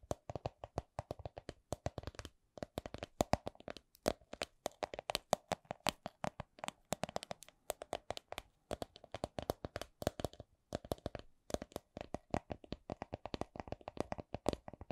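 A small, hollow, soft clear vinyl/PVC coin purse printed with a Miffy design is tapped with long nails. The result is a steady stream of quick, dry clicks and taps, sometimes slow and sometimes in fast bursts. Each tap is short, with a hollow mid-range tone and bright, crisp edges.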